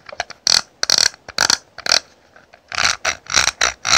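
Long nails tap and scratch the lid of a small, hollow, rectangular clear plastic highlighter compact with a scalloped edge and powder inside, held in hand. Irregular bursts of dry, bright clicking and scratching come in clusters, with short silences between them.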